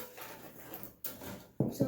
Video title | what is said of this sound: My First Sourdough Bread!!! | if it sounds hollow it's good if it doesn't it isn't good